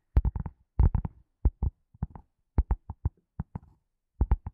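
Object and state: Leather glasses case.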